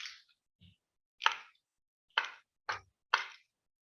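A piece of wood is struck with keys four times in a row, giving short, dull knocks that stop almost at once. The knocks carry a mid-range body with a bright clicky edge, and fainter taps come just before them.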